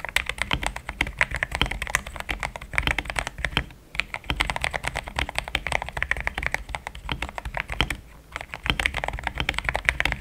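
A pink-framed compact mechanical keyboard with a hollow case, polycarbonate plate, linear switches and thick cream XDA plastic keycaps is typed on with fingertips in steady taps. Dense, rapid, clacky keystrokes with a bright, high-mid click around 2 kHz run throughout, with short pauses near 4 and 8 seconds.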